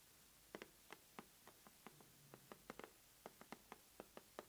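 Long nails tap and scratch the sides and top edge of the lid on a closed, medium-size red corrugated cardboard subscription box that is hollow and filled. The result is a quiet series of short, dry, hollow taps with a mid-pitched body, bright clicky tips and almost no ring, plus a soft, low scratching rub near the middle.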